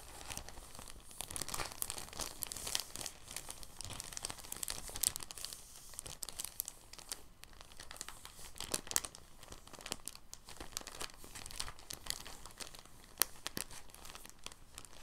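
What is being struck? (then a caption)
Thin plastic bag. A thin, clear, empty soft plastic bag is rolled on a desk while the fingertips of both hands crinkle and rub the rolled film. Dense, quiet crinkling and rustling runs throughout, with bright, sharp crackles scattered over a soft hiss.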